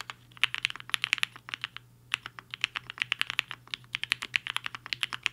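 Fingertips of both hands type fast on the plastic keys of a compact HI-FINGER 7.5 mechanical keyboard with a black case and white and pink plastic keycaps, resting on a desk mat. About 37 short, sharp, bright clacks come in quick bursts with a brief pause near the two-second mark, each keystroke dying away almost instantly.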